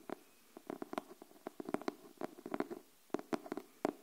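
Long nails tap the cover of a pink cardboard hardcover paper notebook held upright, making about 17 short, dry, hollow taps. The taps come at an uneven pace with brief quiet gaps. Each has a low-mid body around 300 Hz and dies away almost instantly.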